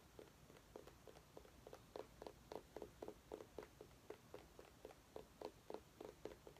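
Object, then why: Small pumpkin rind. A small orange mini pumpkin held in the hands is tapped with long nails. About 16 quick, soft, dry clicks with a mid-pitched, slightly hollow knock come in an uneven rhythm of roughly four per second over a quiet background. Each tap dies away almost at once.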